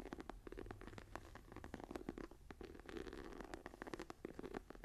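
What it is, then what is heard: Embossed faux leather journal cover. Long dark painted nails and fingertips scratch and tap the medium brown embossed faux leather cover of a hardcover journal with a tree pattern, lying closed and flat on a table. Dense, quiet, dry scratching and tapping mixes with short sharp clicks, centred in the low mids around 350 Hz with a low hum beneath, and every hit stops almost at once.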